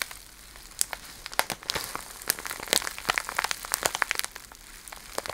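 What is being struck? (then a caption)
Plastic bag filled with cellophane shred. A small clear plastic bag full of iridescent cellophane shred is squeezed and crinkled with fingertips and long nails. It makes a steady, dry crinkling with many sharp, bright crackles scattered irregularly over a soft hiss, and almost no low end.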